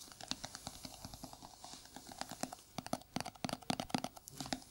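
A small, round, hollow white plastic jar, held in a gloved hand, is tapped rapidly with bare fingertips and short nails. The quick taps give short, hollow, clicky knocks with a low body tone and bright crisp edges. The irregular bursts build toward the end and die away almost instantly.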